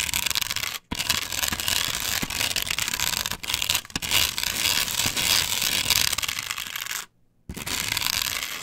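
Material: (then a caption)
Plastic. Long pointed nails scratch quickly across the textured cut-outs of a flat plastic chevron stencil glued solidly onto a wooden board. The result is a dense, bright, crackly scraping with a few short silent gaps.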